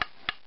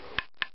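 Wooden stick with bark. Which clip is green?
The first.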